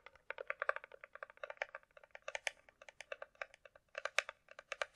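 A closed, small, hollow hard-shell glasses case is held and rapidly tapped with long nails on its top surface, with an echo effect added to the audio. It makes a quick, uneven run of crisp, hollow clicks, bright and light with almost no low end, each snapping off almost at once. Some taps land harder and sharper than others.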